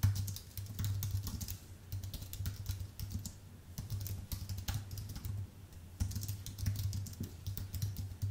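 Both hands type with their fingertips on a full-size white Apple Magic Keyboard with an aluminium base and plastic keys. A steady stream of short, bright key clicks and soft taps rolls along in uneven bursts over a constant low hum. Each keystroke dies away almost at once.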